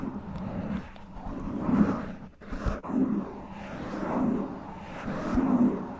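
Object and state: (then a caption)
Foam microphone windscreen being scratched. Long nails and fingertips gently scratch and rub a black foam windscreen on a microphone. The result is a close, muffled, low rumbling texture that swells and fades in slow waves, with a few soft thumps and almost nothing bright on top.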